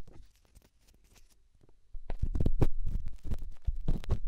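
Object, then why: Small rough stone rubbed against a silicone ear. A small, solid, rough rock held in the fingertips is scratched and rubbed inside a silicone binaural microphone ear. Faint scattered scrapes open the clip, then after about two seconds a loud burst of deep, muffled rubbing and thumping follows in quick, uneven strokes.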